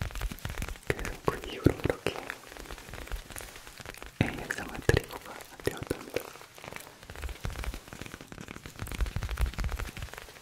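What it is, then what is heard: Tapping on worn leather headphone ear pads. Fingers tap on the worn leather ear pads of an old headphone, producing soft, sticky, close-up tapping sounds. The taps come in quick, dense clusters with short dull thuds, and a few are sharper than the rest.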